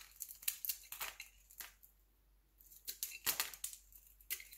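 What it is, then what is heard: Glycerin soap bar being carved. A metal utility knife blade scrapes and carves thin slices from the surface of a translucent pale yellow glycerin soap bar, round, palm-sized and solid, held in the hand. Quick, bright, crisp scraping strokes come in bursts with a quieter pause in the middle.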